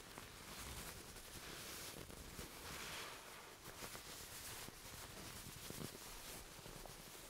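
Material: Nothing is struck.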